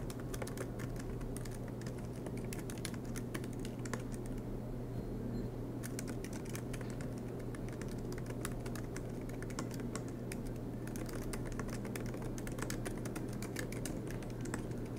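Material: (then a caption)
Plastic. Fingertips of both hands type continuously on the black plastic low-profile keys of a silver MacBook Pro with an aluminum chassis. The keys give a steady stream of soft, quick clicks with bright ticks, over a constant low hum.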